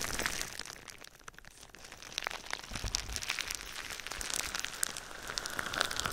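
Clear plastic bubble wrap stretched over the microphone is tapped and scratched with fingertips and nails. The result is a dense stream of bright, crinkling crackles and sharp little ticks that dip quieter briefly after the first second before building back up.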